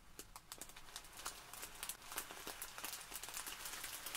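Both hands press, squeeze and scratch with long nails at a small clear plastic bag full of tiny white polystyrene foam beads. The result is a quiet, bright, crinkly rustle full of irregular sharp clicks and scratchy ticks, with little low end.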